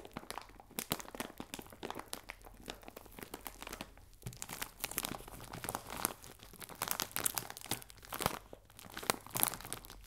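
A clear plastic bag full of biscuits is crinkled in the hands, then rubbed with fingertips and nails while it lies on a table. The result is a dense, continuous run of soft, bright crinkles and crackles with quick, dry snaps and no ring. Louder bursts of crunching rise and fall throughout.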